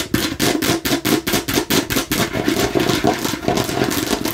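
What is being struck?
Plastic bottle shaped like a watermelon slice.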